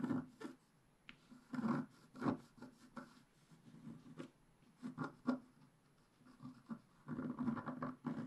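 A wooden stick scratches the mane area of a black-coated scratch-art paper page held flat by hand. Short, soft bursts of dry, raspy scratching come in uneven clusters with quiet pauses between them. The scratches have a low, papery body and a faint bright edge.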